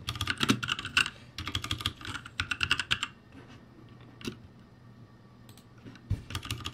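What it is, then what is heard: Plastic mechanical keyboard. Fingertips type on the plastic keycaps of a backlit ROCCAT G65 mechanical keyboard, making rapid bursts of bright, crisp clicks with a soft low thump under each keystroke. The typing runs steadily for about three seconds, gives way to a near-silent pause broken by a few isolated taps, then picks up again at the end.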